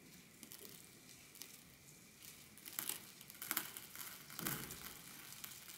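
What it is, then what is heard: Small quartz pebbles in a glass dish. A hand scoops small quartz pebbles and gravel from a glass dish and lets them trickle back onto the pile with its fingertips. The result is a quiet, bright, crinkly rattle of scattered clicks. It swells into a few louder clustered bursts in the second half.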